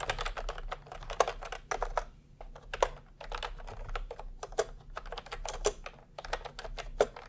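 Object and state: Plastic keyboard typing.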